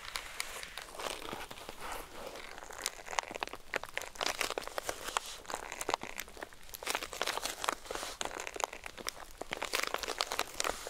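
Long acrylic nails tap and scratch the black-and-white marbled cardboard cover and the edges of the many crinkled, wavy pages of a thick composition notebook lying on a cow-print mat. Dense, dry crackles and crinkles sound as rapid short clicks spread across the mids and bright highs, with almost no low end. Each tick stops at once with no ring.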